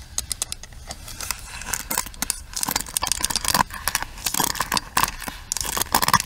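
Long nails tap and scratch across the rim, handle and bristle pins of a pink plastic paddle hairbrush. The result is a rapid, irregular patter of short, dry, bright clicks and crackles that die away almost instantly, with a few sharper taps near the end.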